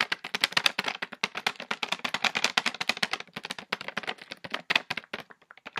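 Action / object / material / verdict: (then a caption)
tap / plastic foil candy pouch / plastic foil / none. Long fingernails tap and scratch quickly on a hand-sized orange Reese's Pieces stand-up pouch made of glossy plastic foil and filled with candy. The result is a rapid, uneven stream of sharp, bright, crinkly clicks that stop almost instantly, with very little low end.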